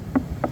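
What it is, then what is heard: Wooden boat hull with fiberglass mesh covering. A wooden boat hull with a fiberglass mesh layer covering it is tapped twice, giving two short, dull knocks with a low-mid tone and almost no ring. The mesh covering makes the hull sound different from an uncovered one.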